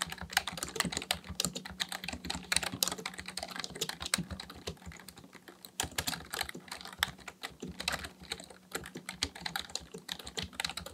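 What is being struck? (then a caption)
Plastic computer keyboard. Both hands type steadily with their fingertips on a black plastic full-size keyboard resting on a desk. The result is a rapid, continuous stream of short, bright plastic key clicks that stop dead with no ring, over a faint low steady hum.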